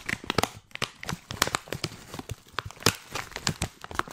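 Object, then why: Filled plastic tea pouch. A filled, hand-sized white printed plastic tea pouch is crinkled and scratched with long nails. The result is a dense run of sharp, bright crackles and scratchy rustles with short, dry snaps and no ring.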